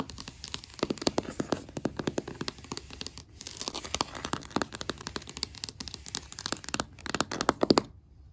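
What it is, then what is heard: Wooden floor surface tapped and scratched with fingernails. Long matte black acrylic nails rapidly tap and scratch a solid, flat oak-grain wooden floor or table surface of floorboards, with a brush briefly appearing at the start. The result is a fast, steady stream of short, dry, clicky taps mixed with crinkly scratching, each tap dying away almost instantly. The sound stops abruptly near the end.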